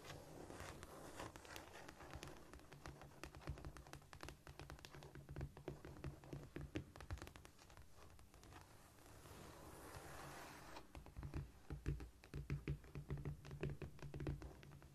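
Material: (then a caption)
Cork. Long nails and fingertips tap, scurry and scratch across a flat, solid cork floor in a quick, irregular patter of soft, dull clicks. Between the clicks come scratchy rustling passages, and a low hum sits underneath throughout.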